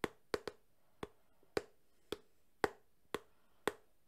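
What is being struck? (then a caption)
Small closed cardboard box. A small closed cardboard phone box, held at an angle, is tapped on its edge and side with fingertips. Nine short, dry, hollow taps sound at uneven intervals, each with a woody knock centered around 430 Hz and a faint, quick decay.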